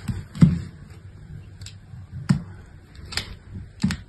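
A small solid piece of pink bar soap, held in fingers with long nails, is shaved and cut into chips with a utility-knife blade. Several soft, short, low thuds are heard at an uneven pace, each with a brief crisp, bright scraping edge that dies away quickly.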